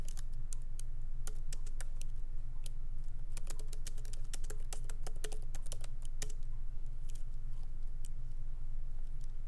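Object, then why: Plastic laptop keys in metal body. Both hands type continuously with their fingertips on a MacBook Pro keyboard, whose low-profile plastic keys sit in a solid aluminum body. Quick, bright, uneven key taps run over a steady low hum.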